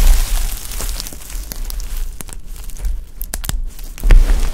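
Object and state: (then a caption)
Dry soap shavings. A heap of dry pastel soap chips is pressed with flat palms, scooped and squeezed by the handful, then crumbled between fingertips. The result is a crunchy, crinkling texture of quick, bright crackles over a deep low rumble, with a louder burst of crunching near the end.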